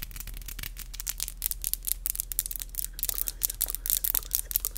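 Long, black, glossy acrylic nails with hollow tips are tapped and rubbed against each other with both hands close to a microphone. A rapid, uneven series of crisp, bright clicks mixes with soft scratchy rubbing over a steady low hum. Each tap is sharp and dies away instantly.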